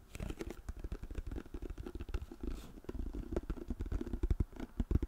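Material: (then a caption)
Plastic. A white plastic lotion pump bottle, held upright, is tapped rapidly with long nails on its back label. The result is a quick, continuous patter of soft, dull, low-pitched taps with almost no ring or high-end click.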